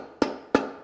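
A 350 transmission clutch piston in an aluminum case is tapped down with a long pry bar, slowly and back and forth. Two sharp, short taps are heard, each with a brief midrange ring around 270 Hz that fades quickly. The piston is not yet fully seated, and the taps sound different from the seated sound heard afterwards.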